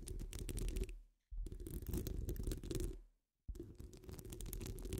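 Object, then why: Metal wire-mesh microphone grille. Long acrylic nails scratch the sides of a wire-mesh microphone grille, making dense, rough scratching with a heavy low rumble and fine crackling on top. The scratching comes in three bursts separated by brief silences.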